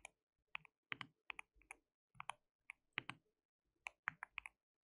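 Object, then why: Plastic mechanical keyboard. Fingertips of both hands type on a white plastic mechanical keyboard with translucent keycaps. About 19 short, bright, clicky keystrokes come in irregular bursts with brief pauses between them, each dying away almost instantly.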